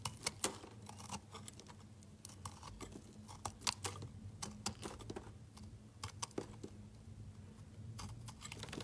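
A utility knife chops small cubes off the remaining small piece of a solid watermelon layered bar soap. Quick, crisp, bright clicks and snaps come in an irregular run, each dying away almost instantly, over a faint steady low hum.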